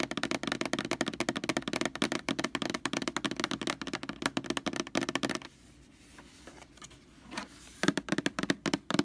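Long nails rapidly scratch and tap the label of a large white plastic Lysol laundry sanitizer jug lying on its side, making a dense run of dry, crisp clicks and scrapes with a hollow low-mid body. After about five seconds the tapping drops to a near-silent pause with only a few faint touches, then the quick bright taps start again for the last second.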